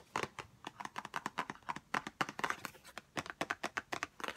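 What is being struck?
Small cardboard box tapped with fingernails.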